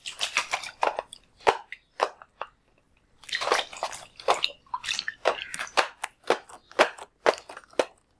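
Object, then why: Latex balloon filled with water. One full, palm-sized red-and-white latex water balloon is held in one hand while fingers squeeze and tap it. Quick crisp, crackly squishes and taps come in uneven bursts, bright with almost no low end. Each sound dies away almost at once, with short quiet gaps between clusters.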